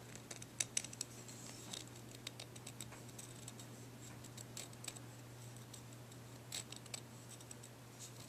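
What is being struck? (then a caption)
Deer antler chew. A dark, ridged, solid deer antler dog chew is held in the hands while fingertips and nails scratch and tap along its surface. Quiet, sharp, bright clicks and scratchy ticks come in irregular bursts over a steady low hum.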